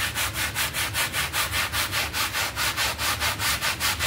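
A red hand brush scrubs a small, wet, foamy synthetic pile carpet mat in fast, steady back-and-forth strokes, about two and a half per second. Each stroke is a bright, scratchy swish over a low rumble, giving an even, rhythmic scrubbing texture throughout.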